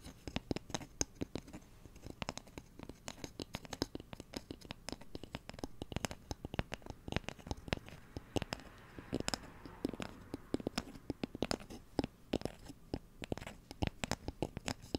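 A light, solid wooden cooking spoon, held horizontally, is scratched with fingernails along its handle and bowl close to the microphone. The result is a dense run of short, dry scratching clicks with almost no ring, broad from low to bright, continuing steadily for the whole clip.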